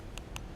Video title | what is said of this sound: LG G3S Review Smaller Might Just be Better | if you give it a click, there's no doubt that it sounds like plastic, and it is plastic